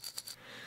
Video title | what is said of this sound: FIRST LOOK LUSHIES Christmas 2019 Unboxing! + UK Shipping Thoughts | you can hear when you shake it, So that sound that you hear in there is sea salt.